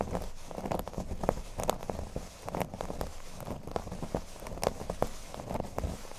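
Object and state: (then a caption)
Cork board. Fingernails scratch the surface of a flat, thin, solid cork board resting on a table. The sound is a dry, continuous rustling scrape, heavy in low rumble, broken by quick, sharp ticks and crackles that die away instantly.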